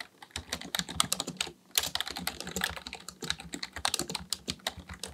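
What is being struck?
Plastic computer keyboard.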